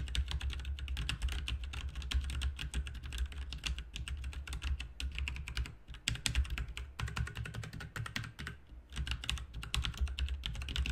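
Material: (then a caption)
Plastic. Fingertips of both hands type rapid key taps on a full-size backlit RGB mechanical keyboard with plastic keycaps. A dense stream of short, bright clicks runs over a steady low hum, with brief lulls near the four- and nine-second marks.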